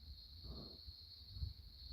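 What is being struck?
Nothing is struck.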